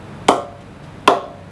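A fake Gray-Nicolls Vapor 1.3 wooden cricket bat is given a ping test with two sharp taps, about 0.8 seconds apart. Each tap is a short, dry knock with a pitch near 700 Hz that dies away in about a tenth of a second. The sound is hollow rather than full, which marks the bat as a fake.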